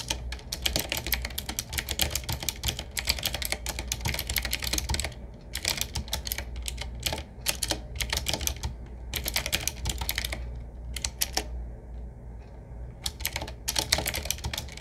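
Fingertips of both hands type on a 7Keys retro typewriter-style mechanical keyboard with round black keycaps set in metal rings, a wood-finish frame, medium size and a hollow case. Bursts of rapid, bright, clicky keystrokes are broken by short pauses, over a steady low hum.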